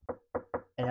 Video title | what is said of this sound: JOISCOPE Home Office Computer Desk - Quick Review (Amazon Desk!) | it's again very Hollow sounding with strong sturdy metal pieces